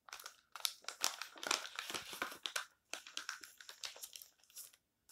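Fingertips flip, rub and crinkle the thin pages of an open glossy paper advertising magazine lying on a table, while palms press and smooth the spread. Quiet, irregular bursts of bright, crisp crinkling and rustling overlap one another, with a short silence near the end before a final rustle.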